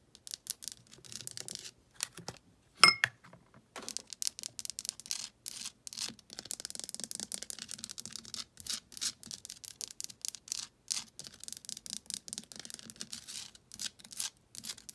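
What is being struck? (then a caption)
Rock-salt lamp. Long painted nails scratch and tap a large, solid, rough pink Himalayan rock-salt lamp resting on a shelf. The result is a steady run of dry, bright, crackly scratches and quick clicking taps, with one sharper, louder tap near the start.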